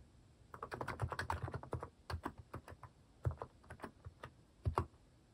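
Fingertips type on a white-case mechanical keyboard fitted with pastel plastic cat-shaped keycaps. A quick run of soft, low, muffled clacks is followed by scattered keystrokes and short pauses. Each press is short and dry, with a deep thock and little bright click.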